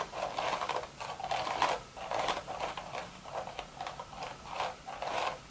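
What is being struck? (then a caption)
Woven straw hat. Long red nails scratch across the woven crown of a hollow, empty straw hat. Repeated dry, raspy scratching strokes rise and fall in bursts, centered in the midrange with a bright, papery edge and very little low end.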